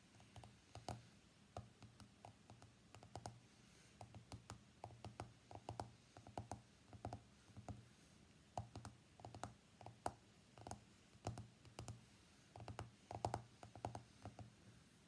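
Fingernails tap the glass screen of an iPhone X lying face up on a mat, making dozens of quick, sharp clicks in irregular bursts over a faint low hum. Each tap is dry and short, with almost no ring after it.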